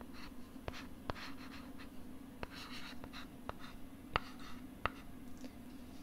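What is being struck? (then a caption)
Plastic LCD writing tablet with stylus. A stylus writes and scratches across a pink plastic LCD writing tablet held close to the right side of the microphone, giving soft, airy scraping strokes. About nine sharp, short clicks cut through the strokes at irregular intervals over a steady low hum.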